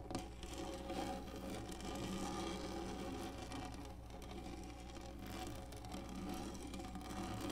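Long nails of both hands scratch the textured top of a black hollow plastic lap desk, producing a steady, dense, quiet rasping with a bright, grainy edge. The scratching runs continuously for the whole clip with slight swells in level and a constant low hum beneath it.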